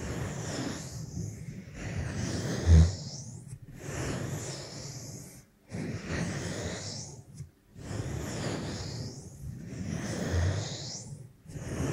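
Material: Nothing is struck.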